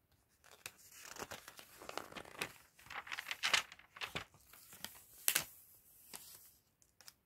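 Gloved fingers and fingertips flip the thin glossy pages of an open paper fashion catalog lying on a table. The result is a string of quiet, bright crinkles and papery swishes, with a few sharper rustles standing out among them.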